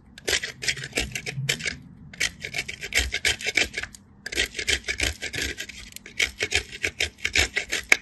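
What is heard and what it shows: A small, solid cream-colored soap bar is rubbed by hand down a metal box grater, and shavings fall away. Quick bursts of dry, bright scraping come one after another, with a couple of short pauses between them.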